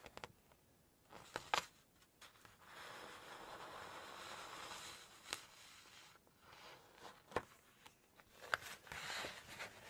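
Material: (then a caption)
Paper. Long nails tap and rub the glossy paper pages of a large open Chinese cookbook as the pages are lifted and turned. Quiet, sharp ticks and taps mark the clip, and a soft, bright, sustained rustle and slide fills the middle as a page is turned. The result is a crisp, close paper sound with almost no low end.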